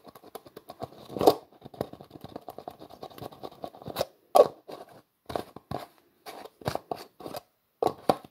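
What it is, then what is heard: Plastic jar with screw lid. Fingers twist the black plastic screw lid of a translucent plastic jar back and forth, producing a run of quick, dry plastic clicks and scratchy scrapes. The clicks are dense and fast at first, then break into separated bursts with a few louder grinding twists. The tone is mid-range and close, with almost no ring after each click.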